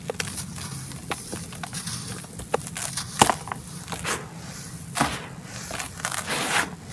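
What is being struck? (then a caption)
Clumps of red soil. Hands squeeze and break a solid clump of dry red dirt in a white plastic tub, with loose powder and crumbs falling between the fingers as they crumble and rub it. The result is a run of dry, gritty crackles and crunches with sharp, bright snaps over a soft, sandy rustle.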